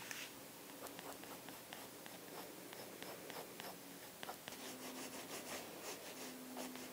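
A light-blue pencil, held by fingers with long blue nails, scratches short shading strokes across an open sketchbook page of thick drawing paper lying flat on a wooden desk. The soft, dry scratching comes in quick, bright bursts over a quiet, steady background with a faint low tone.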